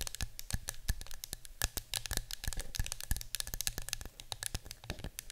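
A small cylindrical yellow-green printed metal citronella candle tin, hollow and apparently filled with candle wax, is tapped and scratched with long acrylic nails while held and then standing on a table. Quick, dense clicks and taps with short bright rasps sound over a low hum.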